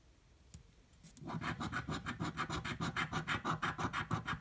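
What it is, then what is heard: Scratch-off lottery ticket being scratched with a coin. A metal coin held in the fingertips scratches a purple paper scratch-off lottery ticket resting on a table. After about a second of near silence and a faint tick, steady back-and-forth scraping strokes begin, about three per second, with a gritty, bright rasp over a soft low rub.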